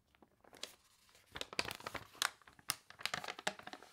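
Long nails scratch, rub and lift the wavy, water-warped glossy pages of a paper toy catalog. The result is bright, crisp crinkling and crackling bursts that come in quick irregular clusters.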